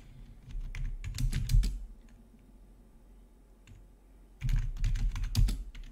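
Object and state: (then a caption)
Plastic gaming keyboard being typed on. Fingertips of both hands type on the keys of a full-size black plastic gaming keyboard with rainbow backlit keys, resting on a marble-look desk. Two bursts of quick, irregular key clicks and clacks are separated by a quiet pause, with a deep low thump under each keystroke and brief bright clicks on top.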